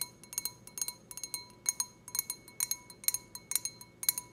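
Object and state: Glass wine glass.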